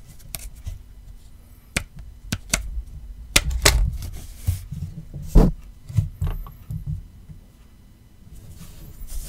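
Fingertips and short nails tap and scratch the back of an iPhone XR in a black rubbery silicone case, a small, solid handheld phone, and on its light-blue fabric finger strap with metal ends. Short, dull, low thuds come at irregular intervals, mixed with brief bright scratchy rasps. The taps die away quickly, leaving quiet gaps between them.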